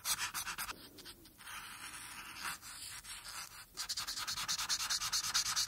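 A marker tip strokes and scratches across a thin printed paper coloring page lying flat, coloring in the blue background while the other hand rests on the sheet. Quick, bright, hissy back-and-forth scratches open the clip, ease into a steadier, softer rub in the middle, then return as a fast run of rhythmic strokes.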